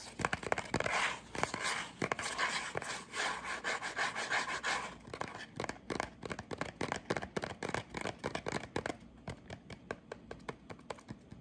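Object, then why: Small cardboard box. A small, hollow, rectangular tan cardboard cologne box is held in both hands and tapped and scratched with the fingertips and short nails. Dense, dry scratching and bright, papery rustle give way to quicker, separate hollow taps that grow quieter and sparser toward the end.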